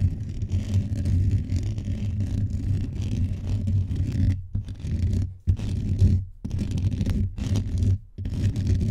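Both hands rapidly scratch and rub the top of a blue microphone's hollow metal mesh grille with fingertips and nails. The result is a dense, boomy scraping rumble concentrated in the low end, continuous at first and then broken by brief silent gaps in the second half.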